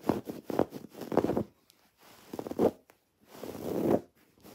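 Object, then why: Woven fabric throw pillow with cord embroidery. Long nails scratch across a soft, stuffed teal throw pillow of textured woven fabric with raised white cord-embroidered lettering, which is also gripped and turned. The result is quiet, dry, zipper-like rasps in uneven bursts, with short silent gaps and a longer swelling scrape near the end.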